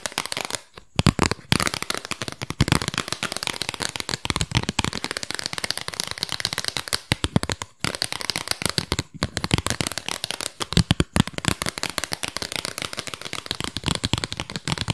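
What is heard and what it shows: Long pink nails tap fast on a small, flat, square cardboard album sleeve with a disc print, held in both hands. The result is a dense, rapid stream of dry, short clicks with no ring, mixing a low thump with a bright crackly edge. Brief pauses break the tapping along the way.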